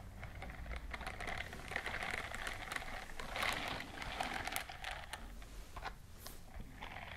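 A white silicone dishwashing glove with bristles is worn on one hand while the long nails of the other hand scratch and brush across the bristles. The result is a continuous, dense scratching and rustling with many quick, bright ticks and a steady mid-to-high hiss over a faint low rumble.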